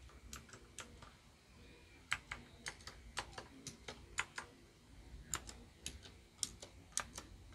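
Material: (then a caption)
Plastic. Fingertips type and press single keys on a small white plastic Royal Kludge RK61 RGB wireless mechanical keyboard with its lights mostly off, then one finger taps keys at the end. About nineteen sharp, bright plastic clicks ring out with very short decay over a faint low background.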